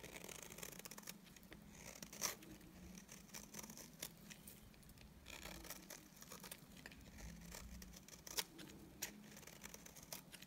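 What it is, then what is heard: Dry bar of soap shaved with a blade. A solid, dry beige bar of soap has its face shaved with a utility knife blade. The shaving makes quiet, dry, bright scraping and crackling with a low hum underneath, and a few sharper clicks stand out along the way.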